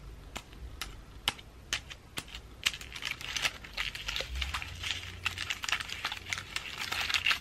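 Long acrylic nails tap and scratch the scales of a pine cone ornament ball with dried flowers, held in the hand. Sharp, bright clicks come through over a dry, crinkly scratching that grows denser and louder toward the end.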